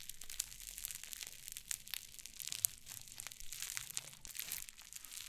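A flat mound of fluffy white cloud slime on a wooden table is pressed and scratched with fingertips and long painted nails. It gives a quiet, steady stream of bright, crisp crackling and crinkling, dotted with many tiny sharp snaps and soft crunches and little low-end weight.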